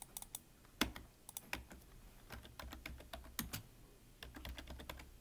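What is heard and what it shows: Fingertips of both hands type on a full-size black plastic computer keyboard with a hollow body, producing a quick run of short, bright key taps. The clicks come in uneven bursts over a soft, low background, with one sharper tap standing out near the start.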